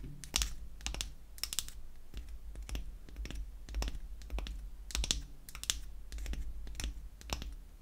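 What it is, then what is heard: Wooden lipstick tube. Long acrylic nails tap quickly on a small, light wooden lipstick cylinder held in the hand. The taps come as a steady run of short, dry, bright clicks that die away almost at once, over a constant low hum.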